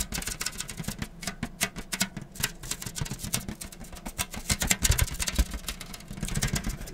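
Fingertips tap rapidly on a Death Note all-in-one edition manga volume, a sturdy paper book that is smaller than the separate volumes. Dense, uneven patter of short, dry taps with a low thump and a papery, bright tick on each strike.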